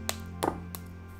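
The hard sugar candy shell of a finished fruit tanghulu on a skewer is tapped several times, giving short, crisp clicks over a steady low background hum. The shell is crunchy and crisp, as expected.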